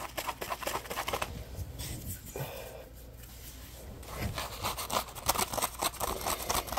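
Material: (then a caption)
Polymer foam. A dry, yellow-orange Scrub Daddy polymer foam sponge with a textured surface is scratched and squeezed with fingertips and short nails. Rapid, uneven bursts of bright, crackly scratching give way to a quieter stretch of soft squeezing and rubbing before the brisk scratching returns.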